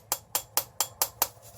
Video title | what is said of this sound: Soaptober Octoberfest Beer Soap Mashup Premiere - Jentle Soaps™ Beer Bath Bomb- Beer Bath Truffles | listening to that hollow sound